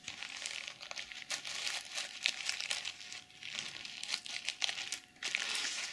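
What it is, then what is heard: Sequin-covered fabric pouch. Long nails scratch and flip the reversible plastic sequins covering a small zippered pouch held in both hands. The result is a continuous, bright, crinkly rasp of clicking sequins in uneven bursts, with short dips between strokes and almost no low end.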